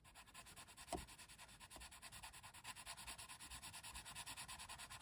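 A hand with long red nails shades a thin printed coloring book page with a forest scene, rubbing a colored pencil lead quickly back and forth across the paper. The result is a steady run of soft, bright, scratchy strokes with a breathy hiss, plus one sharper tap near the start.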